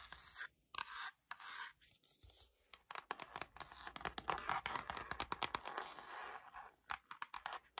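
Long nails scratch and tap across the front and back covers of a dark-green, cloth-covered hardcover album. Dense, bright scratching textures are broken up by many quick, dry taps, with short gaps between bursts and almost no ring.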